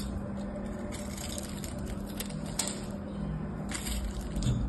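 A solid rectangular soap bar with a gold patterned coating and green interior is held in hand and scraped and carved with a small knife blade, flakes coming off. Soft, steady scraping runs over a low hum, with faint crisp ticks and a slightly louder scrape near the end.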